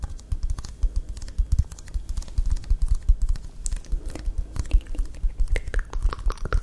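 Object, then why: Plastic drink bottle. Long acrylic nails tap and scratch along a small, full-looking plastic bottle of Caffè Latte iced coffee that has a blue plastic cap and a paper/film label. The result is a rapid, uneven run of short, dull, low-heavy clicks with soft scratchy texture in between, much like fast typing.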